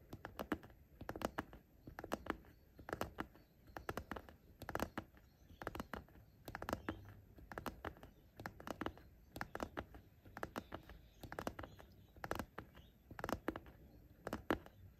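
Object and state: Fabric pencil case tapped and scratched.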